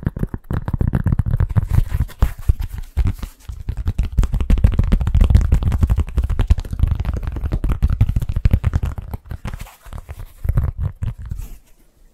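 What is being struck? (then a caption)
Cork stand. Rapid, continuous tapping on a cork stand produces a dense stream of short, dull, bassy thuds with almost no high-frequency content. The taps come in quick bursts that briefly pause and resume.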